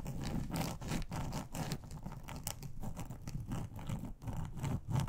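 Long acrylic nails on both hands rapidly scratch and tap across a large, flat, grey textured plastic board made of a solid thin sheet. The result is a dense, irregular run of dull, low-heavy scrapes and taps with little brightness, each stroke dying away almost at once.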